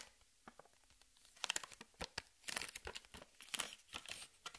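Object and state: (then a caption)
Plastic blister pack of ping pong balls. Long red nails tap and scratch the clear plastic blister of a cardboard-backed pack holding six hollow plastic ping pong balls, held in both hands. Quiet, sparse ticks at first build into denser, bright crinkling taps and scratches, each dying away almost instantly with very little low end.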